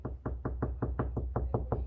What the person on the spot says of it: when you hear this sound there's a stud right there so you could put something right here